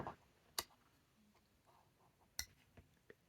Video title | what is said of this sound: New knife & pen day 🎁 unboxing. | can you hear that it's just perfectly tuned absolute perfect